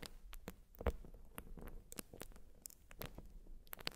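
A white urethane foam sponge is scratched and squished with long nails. The result is a quiet series of short, dry scratching and crackling sounds, with brief bright ticks over a soft low rumble.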